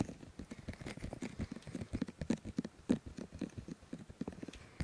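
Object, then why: Silicone microphone ears. Both hands rub and cup the white silicone ears of a 3Dio microphone with fingers and palms. The result is a steady run of soft, muffled, close-up rubbing and dull thumping bursts, mostly low and warm with little brightness, each fading almost at once.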